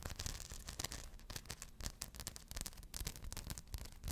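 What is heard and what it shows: Long blue nails scratch the rhinestones of a small rhinestone-covered purse held in both hands close up. The result is a steady run of quick, crisp, dry scratching clicks, spread over a broad range with a low rumble underneath. Each scrape is short, with no ring after it.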